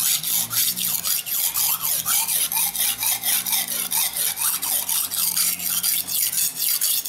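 A steel kitchen knife, held at an angle with fingertips pressing on the blade, is rubbed back and forth along a dark grey rectangular solid whetstone to sharpen it. It makes a steady run of about sixteen bright, gritty rasping scrapes, each stroke hissing high and fading quickly before the next.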